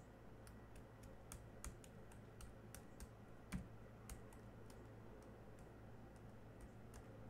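Fingertips of one hand type and tap across the black plastic keys of a small silver laptop. Light, quiet clicks sound at an uneven pace, each a short, bright tick that dies away almost at once. A steady low hum runs underneath throughout.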